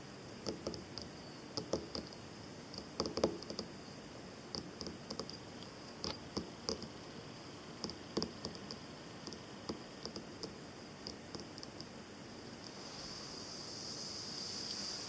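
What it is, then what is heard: Paper sheet tapped with fingernails. Long black-and-white painted nails and fingertips tap and scratch across a large flat sheet of white paper lying on a green table. Short, dry, papery ticks and light scratches come in scattered bursts over a faint steady high whine. Near the end, a soft bright hiss swells up.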